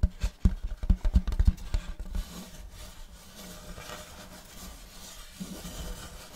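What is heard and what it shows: Fingers of both hands scratch and rub the surface of a large, solid, round checkered wooden serving platter held close to the mic. A burst of about a dozen quick, dull scratches in the first two seconds gives way to a steady, soft, low rubbing that continues to the end.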